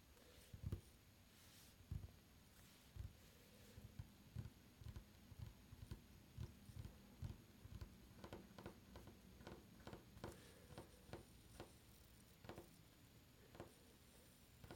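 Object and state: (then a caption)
Solid wooden tabletop. Fingertips drum and tap on a solid, dark varnished wooden tabletop, then curled fingers tap on it with their nails. About sixteen short, dry, quiet knocks are heard, mostly low thuds with little ring. The later nail taps add a brighter click over a faint steady hum.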